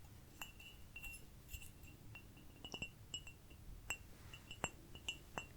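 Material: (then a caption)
Ceramic. A small cute ceramic cup is tapped repeatedly in an irregular rhythm. The taps ring out briefly with a bright, chime-like tone near 2.7 kHz over a quiet low background.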